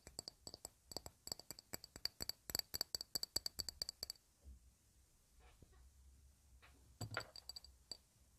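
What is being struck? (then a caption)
Round shallow glass dish. Long red nails tap a round, shallow, clear glass dish, empty and held flat in both hands. A fast run of sharp, bright clicks with a short high glassy ping lasts about four seconds, then a quiet pause with faint handling sounds, and a brief final cluster of taps near the end.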